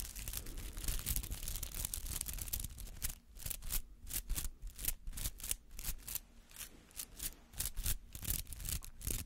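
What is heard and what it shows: Fingernails scratch through the bristly petals of a palm-sized rubber artificial flower, making dry, crackling scratches with a bright, hissy edge over a low rumble. The first three seconds are a dense, continuous rasp; after that the sound breaks into quick, separate strokes with brief quiet gaps between them.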